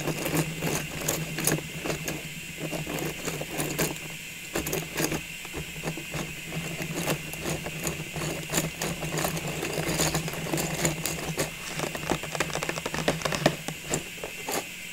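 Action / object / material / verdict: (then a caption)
tap / plastic tube filled with ornaments / plastic / none. Long nails tap and scratch the sides and top of a clear plastic cylinder filled with Christmas ball ornaments, standing on a wooden table. Quick, sharp clicks and scraping rasps come in irregular bursts over a steady low hum.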